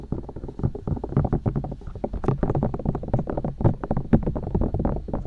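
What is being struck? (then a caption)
Silicone microphone ears. Long nails and fingertips poke and tap the silicone ears and ear canals of a binaural microphone. The result is a fast, steady stream of close, muffled low thumps and soft clicky taps, each dying away at once with no ring.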